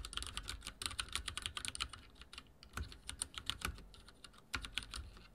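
Fingertips type rapidly on a backlit mechanical keyboard with dark plastic keycaps and a silver frame. The result is a dense, uneven stream of short, bright clicks and clacks that stop almost instantly, with soft low thuds beneath and a few louder strokes standing out.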